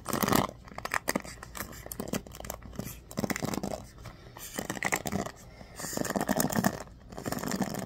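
Fingers grip a bamboo paddle hairbrush with a black pad and ball-tipped pins and scratch across the bristles. Dense, dry, crackling rasps come in uneven bursts, strongest at the start, with brief quieter pauses between strokes.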